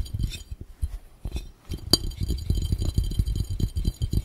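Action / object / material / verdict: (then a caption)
tap / glass fishbowl / glass / none. An empty, hollow, clear round glass fishbowl, held overhead, is tapped and drummed fast with the bare fingertips and nails of both hands. The result is a quick, uneven patter of dull, low thumps laced with faint bright glassy clinks, including one sharper ringing clink near the middle.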